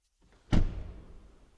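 The frameless front door of a Mazda CX-6e is slammed shut once, giving a single deep, solid thunk centered low around 86 Hz that fades quickly into a short low rumble. The closing sounds really good.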